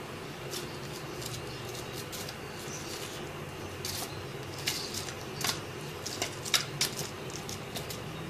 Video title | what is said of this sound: Crispy Fried Mutton Chops Recipe (In Urdu) By Shaz Kitchen | आपको इनकी आवाज से पता चल रहा होगा कि यह कितनी क्रिस्पी और फ्लेक बनी है